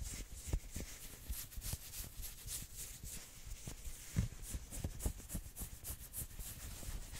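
Fingertips and nails scratch fast across the sleeves of a worn maroon knit sweater. Quick, dense scratching gives a bright, airy rasp over soft low thuds, with a few sharper strokes standing out.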